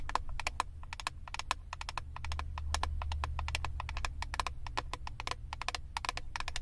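Long acrylic nails tap rapidly and irregularly on the clear plastic lid of a flat eyeshadow palette. Each tap is a short, dry click centered around 1 kHz with a bright top, over a steady low hum.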